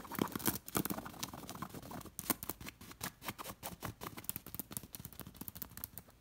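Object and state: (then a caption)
Beaded linen cushion. Long nails scratch and tap across the beads of a beaded linen throw pillow, making a dense run of quick, dry clicks and scrapes with bright, crisp edges. The short taps come in rapid, uneven bursts with almost no ring after each one.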